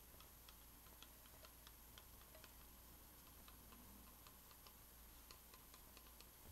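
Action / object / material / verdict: tap / metal tea tin / metal / none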